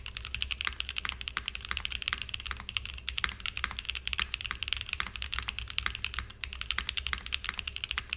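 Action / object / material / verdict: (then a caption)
tap / aluminum-cased mechanical keyboard with plastic keycaps / aluminum, plastic / none. A small 60% mechanical keyboard with a purple aluminum case and cream and purple plastic keycaps, resting on a desk mat, is typed on continuously with the fingertips. The rapid, steady stream of short, bright clacks dies away almost instantly, over a faint low hum.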